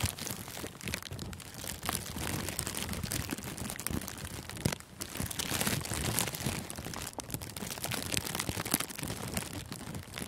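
Thin clear plastic cellophane gift wrap, wrapped around a furry microphone windscreen, is squeezed and crinkled with the fingertips and thumbs. A dense, continuous crackling and rustling runs throughout, with many short sharp crinkles spread across low rumble and bright high hiss.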